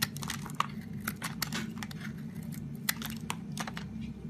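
A utility knife blade shaves and scrapes flakes off a solid, already partly carved lilac bar of soap held in fingers with long pink nails. Dry, crisp crackling scrapes and sharp bright clicks sound over a low steady hum, each snapping off quickly with no ring.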